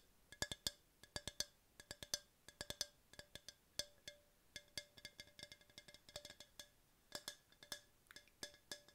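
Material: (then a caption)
Plastic. Long pink-painted nails tap a tall, hollow yellow hard plastic tumbler that appears empty and is held in hand. Dozens of quick, bright, clicky taps come in loose, uneven clusters, each with a faint hollow tone and a very short ring.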